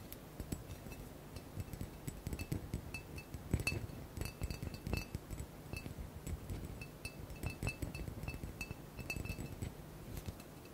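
Fingertips and nails tap rapidly on a large, square, hollow blue glass bottle that seems empty and is held in the hands. The result is a quick, uneven run of short, bright clinks, each briefly bringing out a clear glassy ring near 2.7 kHz over a soft low rumble.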